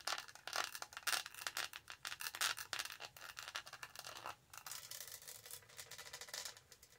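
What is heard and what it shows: Long nails scratch the textured lid of a tall black studded hollow plastic tumbler, then move to its studded sides. Rapid, bright, dry scratching comes in quick bursts, then shifts to a steadier, finer rasp with almost no low end.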